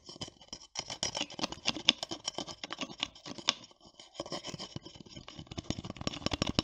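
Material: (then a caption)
Plastic. Long nails tap and scratch the small plastic flip or screw cap of a blue plastic cosmetic bottle held close to the mic. Rapid, dry, bright clicks mix with scratchy rasping in a busy, uneven stream that pauses briefly near the middle. Each tap is short and dies away almost instantly.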